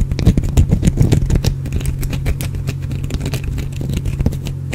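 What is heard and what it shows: A small, solid, carved green bar of soap is held close to the microphone and scratched and picked at with the fingernails. Dense, crackly scratching and quick dry ticks ride over a steady low hum. The scratching is louder and more scattered at first, then settles into a softer, even texture.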